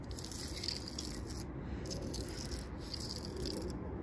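Long purple nails tap and scratch rapidly on the ridged bark of a large, solid tree trunk. The result is a steady, dense rattling scrape with a low rumble underneath and bursts of crisp, high crackle that come and go.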